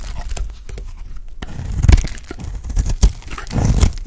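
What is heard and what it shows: A solid, dry lilac soap bar held in the fingers has thick chunks cut and scraped off with a utility blade. The result is a steady stream of dry, crunchy scraping and crumbling, heavy in the low end, with louder crunching cuts near the two-second mark, around three seconds, and toward the end.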